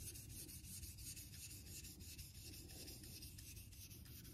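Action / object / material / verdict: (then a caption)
scrape / synthetic water stone with a steel razor blade / synthetic stone / none. A vintage Geneva Cutlery steel straight razor is honed on a solid light-blue Naniwa synthetic water stone held in a clamp holder. The blade scrapes across the stone in quick, repeated strokes, making a steady, bright, gritty rubbing hiss over a low, quiet rumble.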